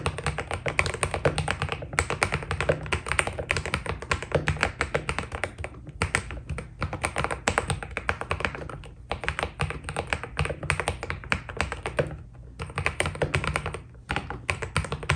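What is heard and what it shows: Both hands type steadily on a white Keydous NJ80 mechanical keyboard with PBT plastic keycaps, fingertips striking the keys. The result is a fast, dense stream of short clacky taps with a low thock beneath a bright click, broken by brief pauses around 2, 6, 9, 12 and 14 seconds.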